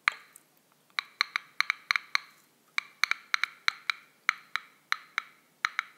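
A small unopened, full Schweppes seltzer aluminum can is held in one hand while the other hand's fingertips and nails tap its top rim. About twenty sharp, bright metallic clicks sound in an irregular rhythm, each dying away almost at once with a high, tinny ping.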